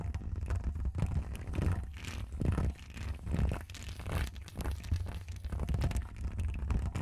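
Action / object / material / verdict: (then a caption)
scrape / woven metal mesh microphone grille / metal mesh / none. Long acrylic nails on both hands scratch the hollow, woven metal mesh grille of a bare Rode NT1 condenser microphone. The result is a continuous, irregular scratching and rustling that swells and fades in rough bursts. A heavy low rumble dominates, with only faint bright edges.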